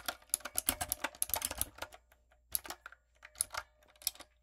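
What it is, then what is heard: Mechanical keyboard with plastic keycaps. A typewriter-style backlit mechanical keyboard with round brown plastic keycaps on a dark frame is typed on with fingertips and long coffin nails. Rapid, bright, clicky key taps come in quick bursts with short pauses, each one dry with almost no ring.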